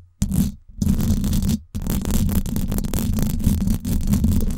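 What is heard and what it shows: Long acrylic nails scratch and grip the hollow, silver woven-wire dome grille of a Blue Yeti microphone. The result is a dense, boomy rumble of scratching, mostly deep low-end thuds with little high crackle. Two brief pauses break the first half before a continuous stretch of rough scraping.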